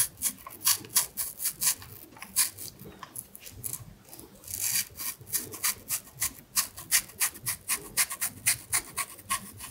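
A small carving knife with a blue handle scores and scratches the skin around the stem of a whole fresh red apple held in one hand over a plate. A quick, steady run of short, dry, bright scraping strokes sounds with little low end, each stroke cut off almost at once.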